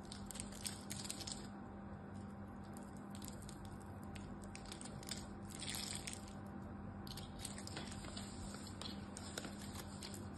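A solid pink glycerin soap bar held in the hand is grid-cut and scraped with a metal knife. Crisp, crunchy scraping and cutting sounds with bright, hissy crackle come in bursts over a quiet, steady low hum.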